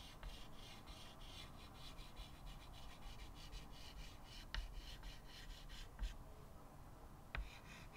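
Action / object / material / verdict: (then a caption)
scrape / chalk stick on a wooden-framed chalkboard / chalk / none. A stick of white chalk held in the fingertips rubs and scratches long strokes across a small square chalkboard with a wooden frame lying flat on a table. The strokes make a steady, rhythmic dry scraping with a bright, hissy edge, broken by four sharper taps where the chalk meets the board. Near the end the scratching briefly pauses, then resumes after the last tap.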